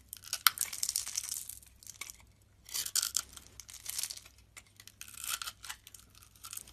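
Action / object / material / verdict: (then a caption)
scrape / bar of soap cut with a metal blade / soap / none. A solid blue soap bar with a scored grid surface, held in hand, is scraped and cut into small cubes with a metal utility knife blade, with carved soap roses resting nearby. Bright, crisp scraping and crackling bursts come in quick clusters with brief quiet gaps, almost no low end and no ringing after each cut.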